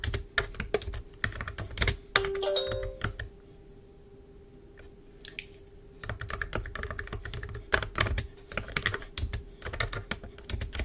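Long pointed nails and fingertips tap rapidly on the keys of a black plastic computer keyboard on a desk, making clicky, bright typing bursts. A brief ringing tone sounds after the first burst, followed by a near-silent pause with a faint low hum underneath. The quick tapping then resumes steadily until the end.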